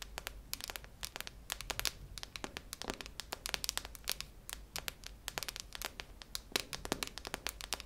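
A hollow, cylindrical silver metal tin canister with a red plastic lid is held close and tapped and scratched with long nails on its metal body. The result is a dense stream of quick, bright clicks and scratchy, crinkly rasps that die away almost instantly, over a faint low hum.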